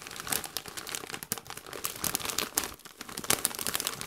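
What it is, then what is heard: Crinkled plastic foil chip bag. Gloved hands squeeze, crinkle and shake a metallized plastic Doritos chip bag that is partly full of chips. The result is a continuous run of dense, bright crackling and crinkling bursts with almost no low end, each crackle dying away almost instantly.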